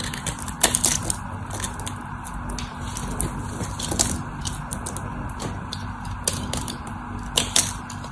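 A metal utility knife blade scrapes and carves a solid white dry bar of soap held in the hand, chipping off crisp flakes. Dry, bright scratching runs throughout, broken by sharper snapping clicks as pieces break away, over a steady low background hum.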